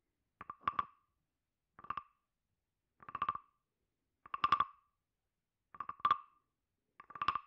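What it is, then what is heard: Carved wooden frog guiro. A hand-sized hollow carved wooden frog guiro is held in the left hand while a wooden stick is scraped and tapped along its ridged back. Six short bursts of rapid clicks ring with a hollow, croaking tone around 1.2 kHz and bright edges, each separated by silence.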